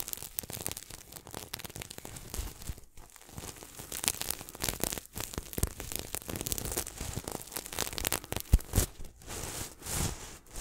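Fingertips scratch and brush across the sequins of a red and silver sequin throw pillow held beside the microphone. The result is a dense, continuous crackling rustle of quick, dry clicks and scrapes with bright, hissy highs. Swells of louder brushing rise and fall throughout.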